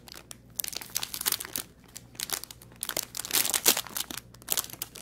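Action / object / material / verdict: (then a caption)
scrape / thin plastic packaging bag / plastic / none. Fingertips pinch, crinkle and press flat the end of a thin clear plastic packaging bag holding an artificial aquarium plant, lying on a wooden table. The result is bright, dry, irregular crinkling in clustered bursts with short quiet gaps, almost no low end, and no lingering ring.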